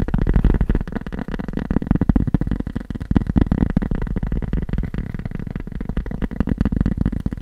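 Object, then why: Cork surface. Fast tapping on cork produces a dense, rapid stream of dull, low thuds with almost no bright content. Each tap dies away almost instantly, blending into a continuous muffled patter.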